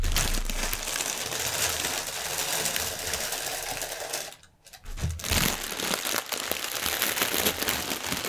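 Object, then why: Thin plastic air-pillow packaging film. Fingertips with medium-length painted nails press and rub a long, mostly deflated strip of thin clear plastic air-pillow packaging with green print, lying on a white table. The result is dense, bright crinkling and crackling with soft low thumps, broken by a brief near-silent pause just past the midpoint before the crinkling resumes.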